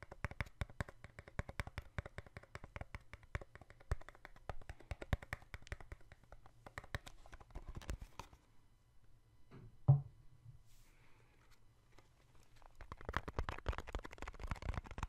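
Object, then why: Small cardboard box. A small, hollow yellow-and-white cardboard box is held in the hands close to the microphone and tapped rapidly with the fingertips. The taps give dull, hollow, low knocks with a short ring. A brief pause follows a single louder knock, and then the quick tapping starts again.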